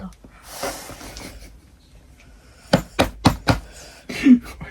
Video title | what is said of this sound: Road trip Paris to ??????/ Packing / Vacation Vibes/Chaloooooo 🏖️😬 | इसमें तो कुछ भी नहीं है। इसमें ये खाली है। देखो आवाज आ रही है।